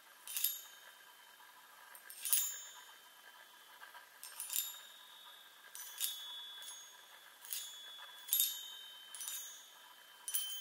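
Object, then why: Hollow metal tubes on a wooden frame. Long nails tap the hollow metal tubes of a small handheld chime mounted on a wooden frame. Each tap gives a quiet, bright metallic ping with a short shimmering ring and no low end. The taps come sparsely and unevenly across the clip.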